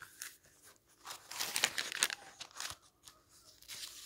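Fingertips turn and flip the thin printed paper pages of an open paperback book lying on a wooden table. Bright, dry rustling and crinkling swell into louder crisp page-flips in the middle of the clip, then fade back to soft paper brushing.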